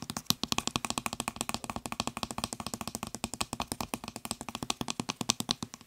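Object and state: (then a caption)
Plastic spray bottle trigger head. Fingertips and nails tap rapidly on the nozzle of a white plastic trigger spray head on a blue plastic bottle, producing around sixty quick, dry, clicky taps over six seconds. Each tap is short with almost no ring, with a bright, crisp top end and a light hollow plastic body.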